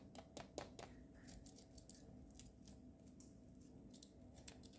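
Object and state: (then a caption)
Foil-wrapped chocolate egg. Fingertips and short nails pick and scratch at the seam of the printed aluminium foil wrapper on a small hollow Kinder Joy-style chocolate egg held in both hands, before it is unwrapped. The quiet clip is a string of crisp, dry ticks and bright foil scratches, with the sharpest snaps near the start, over a faint steady hum.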